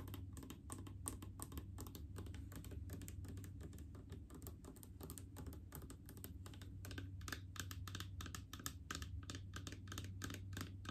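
Long acrylic nails tap quickly and continuously on a large blue plastic mouthwash bottle full of liquid. The taps come as a dense run of sharp, bright clicks over a steady low hum at a quiet, even level.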